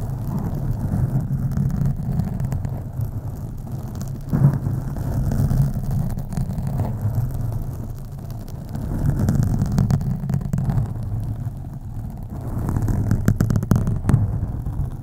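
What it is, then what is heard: Foam microphone windscreen being scratched. Fingernails scratch slowly along the sides of a black foam microphone windscreen, producing a deep, muffled rumble centered low around 113 Hz. The rubbing swells and fades in slow waves, with a few crisp, bright crackles standing out on the strongest strokes.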